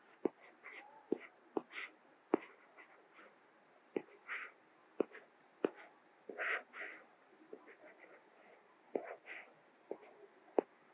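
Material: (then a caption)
Glass. A plastic Apple Pencil tip writes Korean text on the small solid glass screen of an iPad Mini tablet, making repeated crisp taps as it touches down and lifts off. Soft, breathy scratching strokes in the midrange fill the gaps between the sharp clicks, each tap dying away almost instantly.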